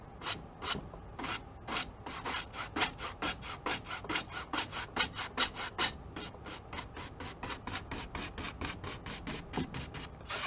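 A wide bristle brush scrubs and rubs back and forth across the painted surface of a medium, hollow-backed stretched cotton canvas on an easel during an oil painting. Around thirty bright, airy, scratchy strokes come in a quick, somewhat uneven rhythm, each a short hissing swish with little low end and almost no ring.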